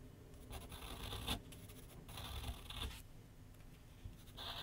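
A pencil tip scratches short strokes across a large white paper sheet mounted on a flat board on an easel. Bursts of dry, bright scratching come in and fade over a low, steady rumble.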